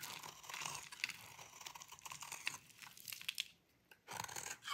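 A metal utility blade held in the fingers shaves a solid oval bar of dry cream-white soap, letting crumbly shavings pile below. The scraping is crisp, dry and crunchy, with bright crackling bursts and sharp little clicks. It goes nearly silent for a moment near the end, then the shaving resumes.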